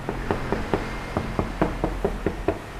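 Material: Steel.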